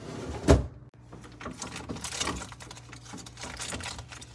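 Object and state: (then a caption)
Refrigerator tapping. Tapping on a refrigerator, opening with one loud, deep thud followed by a steady run of softer, quick taps with short, dull decays. The sound is mostly low with a hollow resonance, plus faint bright clicks.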